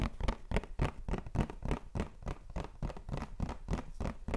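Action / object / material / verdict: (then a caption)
tap / cardboard tissue box / cardboard / none. A printed white cardboard tissue box filled with tissues is held in hand and rapidly tapped and scratched with fingertips and nails. The result is a quick, uneven run of short, dry, dull taps with scratchy rustling between them, about 19 in total and mostly low in tone.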